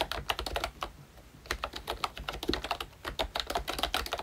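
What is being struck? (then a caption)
Plastic membrane keyboard. A full-size ROYCHE Disney Mickey Mouse themed retro membrane keyboard with round plastic keycaps is typed on continuously with the fingertips of both hands. It produces a steady stream of short, soft clacking keystrokes with bright, crisp tops and very little ring, with a brief lull around the one-second mark before the typing picks back up.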